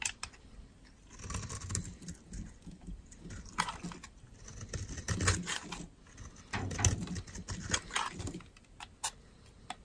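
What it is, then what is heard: Dry bar of soap being scraped. A utility knife blade repeatedly scrapes and carves curls off the edge of a solid, white, rounded bar of dry soap held in the hand. Each pass makes a crisp, dry, scratchy rasp with bright, short transients over a soft low rumble, coming in uneven bursts separated by brief quiet pauses.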